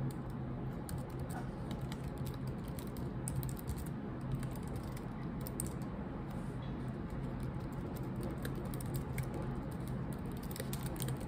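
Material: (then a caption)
Plastic. Long nails tap and type on a laptop keyboard with black plastic keycaps, the hands staying over the keys. A steady stream of soft, bright clicks and patters runs over a constant low hum throughout.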